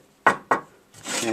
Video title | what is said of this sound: Delboy's Garage, Harley 883 Iron, Belly Pan, Episode 2. | It's an old safe shelf and it's 2mm, which is pretty thick. I think that's like 12 or 14 gauge. You can hear, yeah, it's like plate. You can hear it rings rather than the sheet.